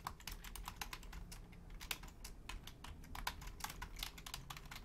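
Long painted nails and fingertips type quickly on a full-size black plastic Logitech keyboard with low-profile keys. A rapid, uneven stream of short, bright clicks and taps sounds over a steady low rumble, each click dying away almost at once.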